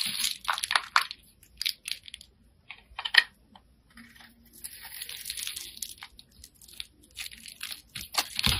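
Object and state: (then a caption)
Bar of soap being carved. A hand-sized solid white bar of soap, held in the fingers, is scraped and carved with a metal blade. Short, bright, crunchy scraping bursts are separated by quiet gaps, with a sharper, louder scrape near 3 seconds and a longer, steadier stretch of scraping in the middle. Each stroke peels off crunchy shavings.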